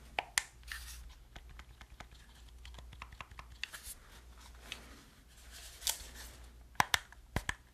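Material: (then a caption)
Plastic. Fingertips and nails press the buttons and tap the shell of a hollow black plastic gamepad held in both hands. Sharp, bright clicks and taps stand out against soft scratchy rustling and a faint low hum. Each tap dies away almost instantly.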